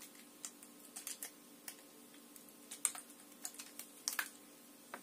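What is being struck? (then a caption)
Plastic water bottle. Long nails tap and scratch a hollow, mostly empty clear plastic water bottle with an orange cap as it is held. About fourteen quiet, sharp, bright clicks and scrapes come at irregular intervals, each dying away almost instantly over a faint steady hum.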